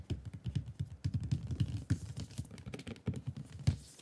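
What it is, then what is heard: Cardboard box. Fingertips of both hands tap and drum on the lid of a flat, hollow, dark blue cardboard product box resting on a wooden desk. About 25 quick, soft, dull taps land in an uneven drumming rhythm, each a low hollow thud around 90 Hz that dies away almost at once, with little brightness.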